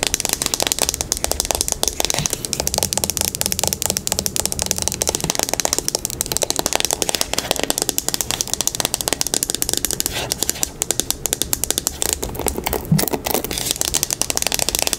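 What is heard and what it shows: A teal plastic paddle hairbrush with a hollow back is held bristles down while long pink nails rapidly tap and scratch its smooth plastic back. The result is a dense, continuous stream of sharp, bright clicks and scratchy rasps that lasts throughout the clip.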